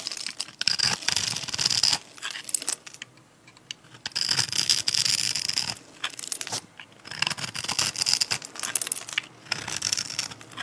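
A metal utility-knife blade scrapes and cuts across the pre-scored grid of a solid, palm-sized pink and white striped dry soap bar held in the hand, flaking off small cubes. Bright, dry, crackly scraping comes in bursts of rapid crisp ticks, separated by short quiet pauses.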